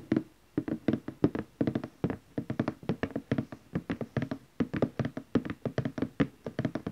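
Fingertips and nails of both hands tap across the lid of a large glossy orange cardboard gift box. The result is a steady run of quick, dry, hollow taps with a midrange body and almost no ring, varying slightly in strength and brightness as the fingers move across the lid.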